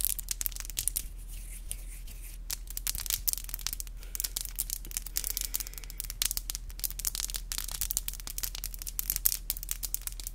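Long black acrylic nails are tapped and scratched together with both hands, nail on nail. Dense, rapid bright clicks mix with scratchy rubbing over a steady low hum, staying fairly quiet throughout.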